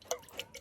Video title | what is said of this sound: Reviewing a Boss Signature Rainbow Blend Iced Coffee while analysing Plato’s allegory “The Cave” | I've almost finished it listen to that